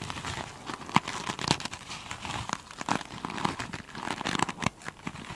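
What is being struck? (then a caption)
Glitter-coated foam sponge. Long pointed chrome nails on both hands scratch the beaded glitter top of a single hand-sized, soft and solid foam sponge. The result is a dense, crinkly scratching texture with bright, gritty rasps and short, sharp clicking taps scattered throughout.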